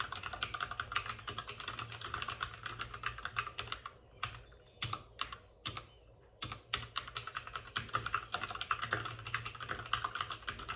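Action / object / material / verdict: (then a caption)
tap / plastic mechanical keyboard keys / plastic / none. Both hands type rapidly with short-nailed fingertips on a white full-size plastic mechanical keyboard with plastic keycaps and RGB backlighting, resting on a desk with a padded wrist rest. Dense, bright clicky key taps with a mid-pitched clack around 1.3 kHz and very short decay slow to a few scattered strokes midway before the fast typing resumes.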